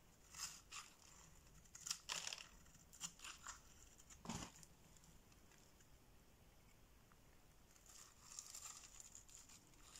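A box-cutter blade scrapes and slices thin flakes from the scored face of a solid orange bar of soap held in the palm. Short, bright, crisp scraping strokes come in quick bursts, then a quiet stretch midway before a denser run of soft scraping near the end.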